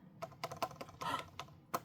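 The hard side of a silicone brush taps a UV resin earring piece several times, making short, sharp, light clicks with almost no ring. The crisp, solid sound shows the resin is fully cured.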